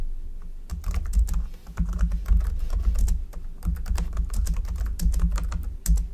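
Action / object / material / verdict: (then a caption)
tap / plastic computer keyboard / plastic / none. Both hands type with their fingertips on a black plastic computer keyboard. The result is a rapid run of short, dry key clicks over soft low thumps, coming in bursts with brief pauses between them.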